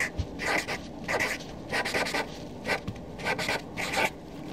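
A black Sharpie felt-tip marker, held in a hand with long nails, writes on a flat white sheet of paper resting on a desk. The felt tip rubs and squeaks against the paper in short, bright scratchy strokes separated by brief pauses.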